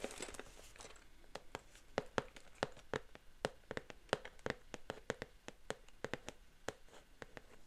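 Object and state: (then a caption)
Printed cardboard box tapped with fingernails. Long painted fingernails scratch and tap the glossy front of a flat, roughly square printed cardboard LEGO Wicked set box, held in both hands close to the microphone; the box is hollow and contains pieces. A quick, irregular series of sharp, dry clicks rises above a soft, crackly scratching, each tap dying away almost at once.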